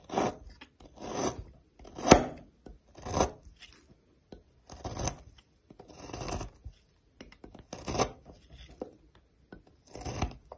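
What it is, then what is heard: Bar soap being shaved. A metal knife slices and shaves a solid green oval bar of soap held by fingers with long blue nails, piling up green shavings. About ten separate raspy, crunchy scraping strokes are heard, each a short broadband burst with a bright high hiss, separated by quiet gaps.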